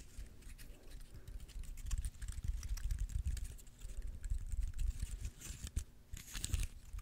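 A small, dry, brown pine cone held in the fingers close to the mic has its woody scales scratched and plucked by fingernails. Quick, dense clicks, crackles and brief scratches come in an uneven patter, each with a short bright tick over a low, soft thump. The clusters of clicks rise and fall in loudness without stopping.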